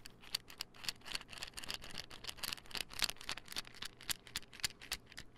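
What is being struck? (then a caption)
Small plastic pill bottle. A small white plastic supplement pill bottle with a gold label and its cap on is held and tapped with nails and fingertips. The result is a quick, uneven run of light, dry clicks and taps with a bright, high plastic tone and almost no ring after each hit.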